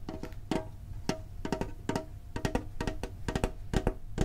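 A small, hollow, green printed metal Pokemon card tin with a lid is tapped with fingertips on the lid and sides. The taps come in a quick, uneven series, each a short, dull knock with a low thump and a faint hollow metallic ring that dies away almost at once.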